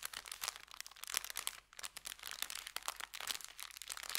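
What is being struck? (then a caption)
Brown kraft paper bag. An empty, layered and folded brown kraft paper bakery bag resting on felt is pinched, lifted and crinkled with the fingertips. The result is a dense run of bright, crisp crackles and rustles, with a brief quiet pause partway through before the crinkling resumes.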